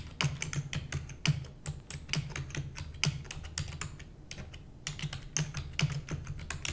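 Long nails and fingertips of both hands rapidly type on a full-size black plastic computer keyboard with hollow keys. The result is a quick, irregular stream of sharp, bright clicks over a low, hollow thump from each keystroke, every tap dying away almost instantly. The clatter thins briefly near the middle before picking up again.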